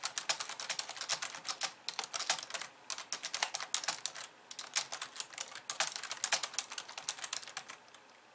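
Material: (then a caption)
Plastic. Fast typing with the long nails of both hands on a pink plastic computer keyboard with white keys. It makes a dense stream of sharp, bright plastic clicks and taps with almost no low end and very short decay. Brief pauses break the rapid bursts.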